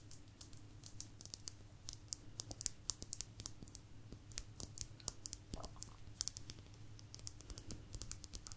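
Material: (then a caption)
Agate. A small, thin, solid blue agate slice, held in both hands, is tapped and scratched with long nails. The result is a quiet, steady run of quick, dry, bright clicks and light scratching over a low, constant hum.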